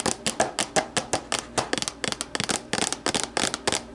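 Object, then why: Plastic deli container. Long nails scratch and rub the walls of an empty, hollow, translucent plastic deli container, first set upside down and then lifted. A rapid, uneven series of sharp, bright plastic clicks and scrapes is heard, each dying away almost at once.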